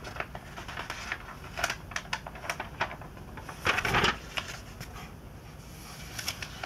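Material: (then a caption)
Glossy paper. Glossy pages of a 2002 Sports Illustrated magazine are bent and turned by hand, only fingers touching the thin paper. Quick, bright crinkles and ticks come in an uneven patter, with a louder rustling burst midway as a page flips over.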